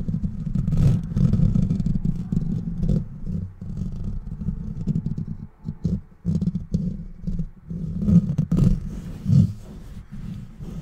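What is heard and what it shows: Fingertips and nails scratch and rub fast over a bare metal wire-mesh microphone grille with a hollow rounded head and no foam cover. The result is a dense, low, rumbling scrape with clattery bursts that swell and dip, then pick up again in rough, aggressive strokes.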